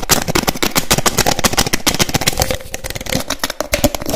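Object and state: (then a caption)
Plastic bottle cap clicking. Fingers rapidly open, close and click the teal cap of a small white frosted plastic bottle. The result is a fast, loud, irregular run of sharp, dry plastic clicks and snaps with crackly high edges and almost no ring.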